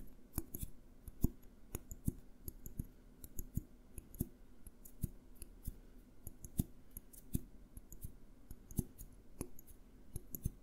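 A small clear glass jar with a green label, held on its side, is tapped with fingertips and nails in a quiet, uneven stream of quick taps. Each tap is a soft, dull low knock with a bright, clicky edge that dies away almost instantly.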